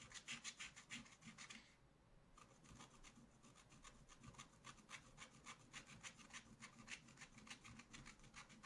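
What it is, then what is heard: Scratch-art paper being scraped. A wooden stylus held upright scratches dense strokes into the black coating of a flat scratch-art paper page. The result is a fast, bright, rasping series of short scratches at about three strokes per second, with a brief pause near the two-second mark before the strokes resume.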